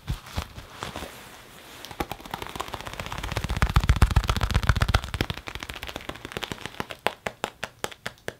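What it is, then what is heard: Leather jacket. An open hand pats, taps and rubs the chest and shoulder panels of a black leather (possibly faux) jacket being worn, giving rapid, dull, low thuds over a soft rubbing hiss. The taps build into a dense, heavier flurry in the middle, then thin out into sharper, evenly spaced pats near the end.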